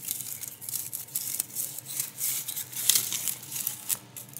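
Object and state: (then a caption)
Small stone scraped on a large rock. A hand rubs and scrapes a small grey loose stone across the flat face of a large, solid grey-brown rock on the ground. The stone-on-stone contact makes a dry, gritty scratching that is almost entirely high and bright, with very little low end. It comes in short, uneven strokes with sharper bursts near the end.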